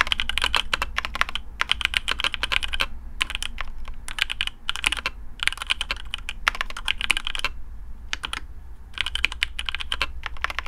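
Fingertips of both hands type on a black AARU custom mechanical keyboard with TTC Speed Silver switches, PBT plastic keycaps on a carbon fibre plate, and a hollow case. Bursts of quick, bright, clacky keystrokes with brief pauses between them ring out, each stopping almost instantly. A steady low hum sits underneath.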